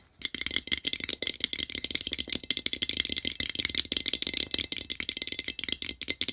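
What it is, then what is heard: Printed tin can. Fingertips rapidly tap the side and metal bottom of a small, open, empty printed metal tin. The hollow tin gives a fast, continuous run of sharp, bright clicks and rattles with almost no low end. Each tap dies away almost at once.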